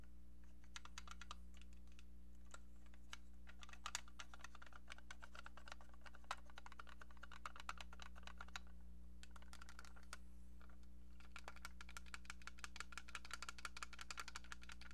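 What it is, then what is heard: Plastic toy phone tapped with fingernails. A small beige hollow plastic rotary-style toy phone, held in both hands, is tapped with long painted nails. The result is quick, irregular, light clicking taps with a bright, hollow plastic tone over a steady low hum.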